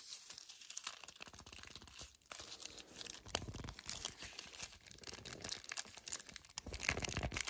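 Fingers with painted nails grip, squeeze and scratch the front and back of a small, flat, full yellow cardboard chocolate bar box. The result is a dense run of bright, crackly scratching and crinkling with quick, dry, tearing-like bursts that swell and fade without pause.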